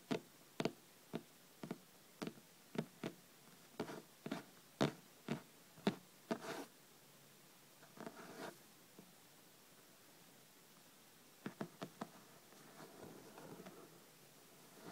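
Long red-painted nails tap and lightly scratch the top edge of a thick hardcover book lying flat, a solid paper block with a cloth and board cover. A quick run of crisp, dry taps with almost no ring fills the first half, broken by brief soft scratching. After a quiet pause, a few more taps and a low, gentle scratch follow near the end.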